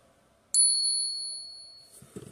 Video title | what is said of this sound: How to spot a fake Morgan?😁 | that's a beautiful sound listen to that sound it had the long thing